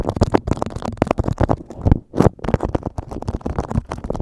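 Fingertips tap, scratch and crinkle a yellow beeswax-coated cotton food wrap stretched over a microphone. Dense, close bursts of crackle and soft thumps come in quick succession, heavy in the low end, with a brief pause around the middle.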